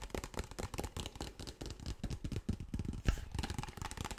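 A large, clear, empty-looking PET plastic water bottle is tapped and scratched with fingertips and nails on its cap, body and bottom. The result is a quiet, continuous run of soft, dull, low-heavy taps mixed with brief scratchy rustles, each dying away at once with no ring. One sharper, louder tap stands out near the three-second mark.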